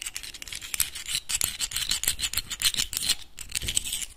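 A closed clam in its hard shell, held in both hands, is scratched and tapped with the fingernails. The result is a fast, uneven stream of dry, bright clicks and scratches with almost no ring and little low end.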